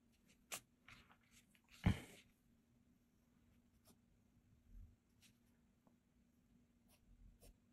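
A blue mechanical graphite pencil held in the fingers scratches across a flat cream paper sketchbook page with a pencil sketch while drawing. Quiet, short, dry scratching strokes sound over a faint, steady low hum, with one louder, bright rasping stroke near the two-second mark. The other strokes are soft and brief.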